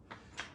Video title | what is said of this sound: Geode Cracking episode 02 | if you shake it and you hear a rattle that's a pretty tell-tale sign that you've got some some sort of cavity inside of there